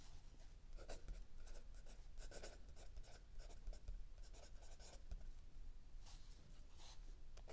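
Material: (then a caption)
Paper. A mechanical pencil writes continuously on a lined paper page of a spiral-bound notebook lying flat on a wooden table, with an open paperback book resting still nearby. Soft, dry scratching comes in short bursts and strokes with bright, airy edges. A steady low rumble sits beneath the writing.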